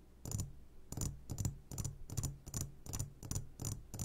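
A medium glass jar, turned upside down and full of sugared gummy candies, is tapped on its sides with the short fingertips of both hands. The result is a quick, uneven series of soft, dull thuds with a low body and a bright, clicky edge, each fading almost immediately.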